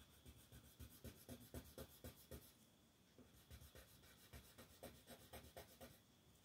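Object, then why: Colored pencil on a paper coloring book page. A yellow colored pencil rubs and scratches across a flat paper coloring book page lying on a wooden table, shading a design while the other hand, with long nails, holds the page flat. Quick, soft, papery strokes come about four per second in a steady back-and-forth rhythm, with a brief lull near the middle before the shading resumes.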